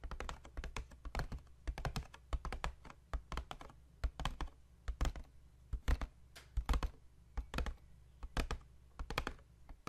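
Fingertips and short nails tap and scratch the top face of a hollow white paperboard box held tilted in one hand. The result is a quiet, irregular patter of short, dry, hollow thunks with a low boxy body and bright clicky edges, each dying away almost at once, with faint scratching between the taps.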